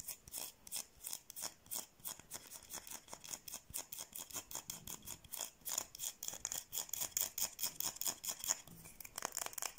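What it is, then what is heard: Bar of soap scratched with nails. Long painted nails scratch a solid white, palm-sized oval bar of soap held close to the microphone. A fast, uneven run of short, dry scratching strokes is heard, each a bright, hissy rasp with almost no low end and no ringing after.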